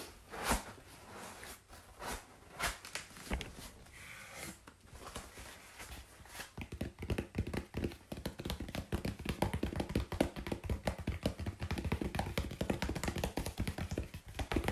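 Long pink-painted fingernails tap on a flat brown corrugated cardboard sheet held at an angle on a lap. A few scattered, hollow taps come first, then after about six seconds they speed up into a rapid, steady patter of short, dull clicks with little ring.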